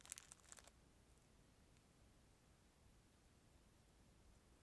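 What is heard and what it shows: Fingertips crinkle and rub the clear plastic film sleeve wrapped around a disposable plastic spoon, held in front of and beside the microphone. A short burst of bright, crackly crinkling lasts under a second, then fades into a quiet, low background hiss for the rest of the clip.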